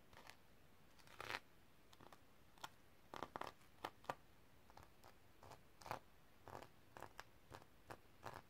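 Long nails brush and scratch across the sequin fabric cover of a tilted notebook, flipping the sequins. Short, quiet, bright crinkly rustles and scratchy bursts repeat irregularly over a faint background hiss.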